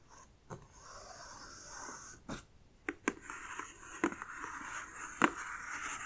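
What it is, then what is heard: Cardboard box tapped and scratched with nails. Long dark nails scratch and tap the lid and sides of a closed, medium-sized black printed cardboard subscription box. A steady, bright scratching hiss runs throughout, broken by a few sharp, short taps at irregular intervals.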